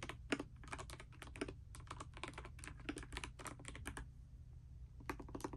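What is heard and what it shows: A pastel mechanical keyboard with plastic keycaps, resting on a bedspread, is typed on continuously with fingertips and long nails. Quick, bright clacks come in a steady run with brief pauses, each click short and crisp over a low, steady hum.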